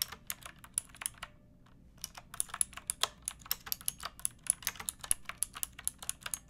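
Fingertips with long painted nails type on a pink plastic typewriter-style mechanical keyboard with round plastic keycaps. The sharp, bright clicks stop after about a second, pause briefly, then resume in a steady rapid stream.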